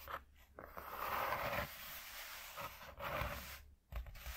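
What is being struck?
Corrugated cardboard sheet.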